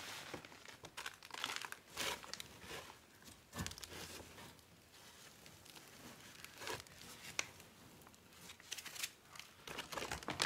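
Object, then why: Plastic bag full of garden soil. Gloved hands press and rub the top of a large, yellow, printed plastic garden soil bag that is full of soil. The plastic gives off bright, dry crinkling and crackling in irregular bursts, with quieter rustling stretches in between.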